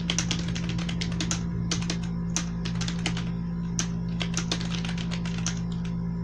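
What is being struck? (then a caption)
Plastic membrane computer keyboard. A black plastic membrane gaming keyboard with blue accents, resting on a white sheet, is typed on steadily with the fingertips of both hands. Rapid, soft, bright key clicks and taps run continuously over a steady low hum.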